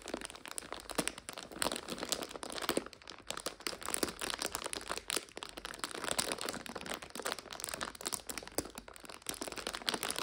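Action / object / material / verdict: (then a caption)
scrape / plastic bag of dried egg noodles / plastic / none. A medium clear plastic bag full of dried egg noodles is held upright while long nails and fingertips scratch and squeeze it. The result is a dense, continuous stream of bright, sharp crinkles with small crunchy cracks and very little low end.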